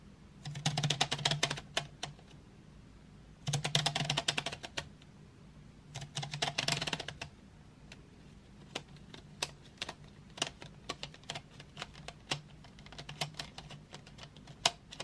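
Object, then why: Painted wooden pencils in a metal tin. Long nails on both hands tap quickly on painted wooden graphite pencils lying in an open metal tin tray. Three dense bursts of rapid, bright clicking come in the first seven seconds, then slower, scattered single taps follow over a faint low hum. Each click is short and dry with almost no ring.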